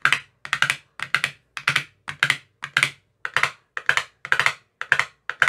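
A hand-held metal rod with a white tip taps into the green silicone cells of an empty clear plastic ice cube tray. It plays about a dozen quick bursts of two or three dry, bright clicks each, with short pauses between them. Each click is sharp and dies almost at once, with no ring.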